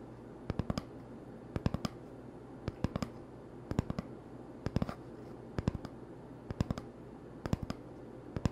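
Fingertips tap quickly on the surface of an empty, hollow cardboard toilet paper tube held in one hand. The taps come in short bursts of three or four, repeating roughly every second. Each is a dry, hollow click that dies away almost instantly over a steady low hum.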